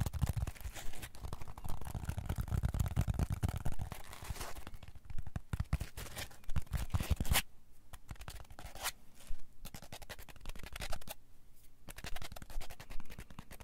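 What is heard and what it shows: A solid, palm-sized block of green polyethylene packing foam is held in the hands, squeezed and rubbed with the fingertips. It makes dense, scratchy, squeaking friction with a heavy low rumble, loudest in the first few seconds, then settling into quieter rubbing broken by sharper scraping bursts.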